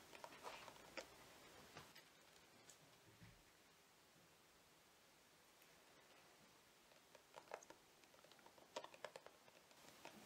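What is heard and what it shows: Fingernails tap on a plastic cosmetic squeeze tube that appears full, held upright in the hands. Quiet, sharp clicking taps come in irregular clusters near the start and toward the end, with a near-silent stretch in the middle.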